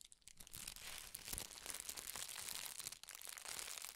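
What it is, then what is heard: Tissue paper being crumpled. A thin, large sheet of red tissue (silk) paper is held up in both hands and crumpled and crinkled with the fingertips. The result is a dense, bright, papery crackle that runs almost continuously, with sharp little snaps throughout and a brief lull just before the 3-second mark.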